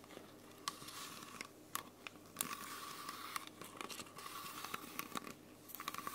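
Long nails scratch and grip the thin plastic and label of a small, clear, hollow, mostly empty plastic Coca-Cola bottle held close to the mic. The result is steady, bright crinkling and scratching with a constant tone near 1.2 kHz, broken by many sharp, quick crackles and clicks.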